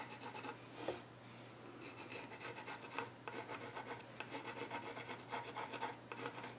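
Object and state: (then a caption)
Pencil scratching on a wooden stool top. A hand scratches and shades with a pencil near the far edge of the flat top of a solid, reddish-brown, grained wooden child's stool. Dry, rasp-like scratching strokes come in uneven bursts with bright hiss over a steady low hum.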